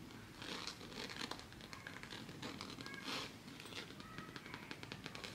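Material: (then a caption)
Coated canvas. A hand-sized zip-around coated canvas wallet with a faux leather stripe is held, tapped and scratched with long fingernails. Quick, bright, crinkly scratching and crackling runs throughout, with sharp little taps and two louder rustling swells.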